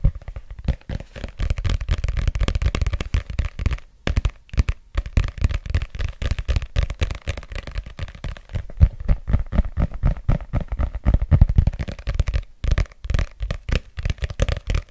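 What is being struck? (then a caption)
Paperback book with glossy cover. Fingertips tap and scratch the glossy back cover of a thick, solid red paperback book held near the mic. The result is a fast, irregular stream of soft, low, thuddy taps with brief scratchy textures and very little ring, pausing briefly around the 4- and 12.5-second marks.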